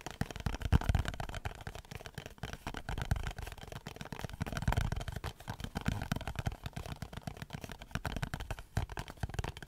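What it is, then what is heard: Cardboard box tapped and scratched. Fingernails tap and scratch the surface of a small printed cardboard Dove soap box held in the hands. The result is a soft, dense stream of quick, dry taps and scratchy rustles, heaviest in the low range, with little high-end brightness.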